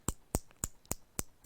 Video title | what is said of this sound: HSSC CET MAINS 🔥 GROUP D 🔥 CHEMISTRY 🔥 METAL AND NON METAL 2 🔥 2026 🔥 | इनको जब पीटते हैं ना तो ये आवाज करती हैं, टन टन की आवाज आती है